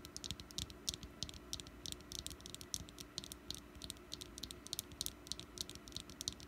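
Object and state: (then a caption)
Solid wax pumpkin candle. Long nails tap rapidly on a small, solid orange wax pumpkin candle resting on a mat. The result is a quick, uneven stream of short, bright clicks that die away almost instantly, over a faint steady low hum.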